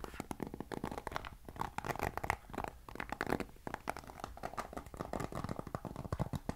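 Fingertips and nails scratch and flick across the bristle rows of a black plastic paddle hairbrush. The result is a quiet, steady stream of rapid, dry clicks and scratchy ticks with a soft low rumble underneath.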